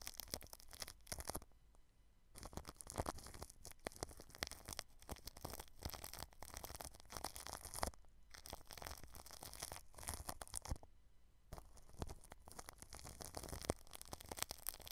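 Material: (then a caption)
Plastic film. A paintbrush sweeps across clear plastic cling film wrapped over the grille of a white microphone. Dense, crinkly scratching and rustling fill the clip in continuous brushy strokes, with a low rumble underneath. Two short quiet pauses break it up near two seconds and eleven seconds.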